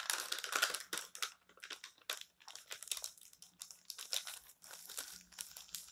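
Hands crinkle and fold a page of an open printed paper magazine lying on a table, turn it, and rub it flat with the fingertips. The result is a quiet, bright run of dry crinkling and crackling bursts with short pauses between them, over a faint low hum.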